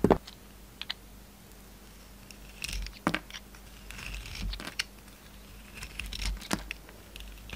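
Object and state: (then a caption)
Soap bar being shaved with a knife. A yellow utility knife shaves slices off an oval solid soap bar with a gold outer layer and orange interior, held in the palm. Quiet, crisp scraping cuts and sharp little clicks come at irregular intervals, each with a bright edge and almost no ring, over a faint steady low hum.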